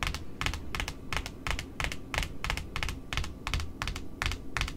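Long metallic nails tap the white cardboard face of a large, flat, solid cardboard spool wound with pink satin ribbon, lying on a wooden table beneath smaller spools. Quick, slightly uneven taps, often in pairs, give crisp, bright clicks over a soft low thud. Each tap dies away almost instantly.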